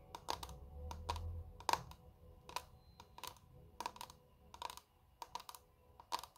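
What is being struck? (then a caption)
Clear plastic makeup compact. A small square clear plastic makeup compact with glittery contents is held in both hands and tapped quickly with long red nail tips. The result is a run of sharp, short clicks with a bright plastic tick around 900 Hz. A faint low rumble sits underneath.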